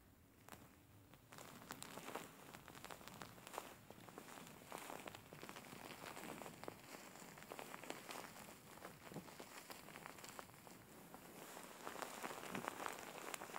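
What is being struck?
Soft-filled faux fur pillow.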